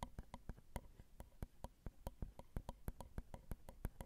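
Long acrylic nail tips tap the small hollow metal mesh grilles of a Zoom recorder's XY microphone capsules, set on a plastic and metal housing. The result is a quick run of about 22 soft, dry, close-up clicks with a low thump and almost no ring.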